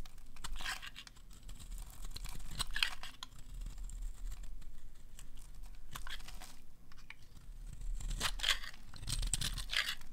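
A metal blade scrapes the corner of a solid, dry green oval soap bar held in the hand, cutting off chunky curls. Repeated bright, crunchy scraping strokes come in short bursts over a low, steady rumble.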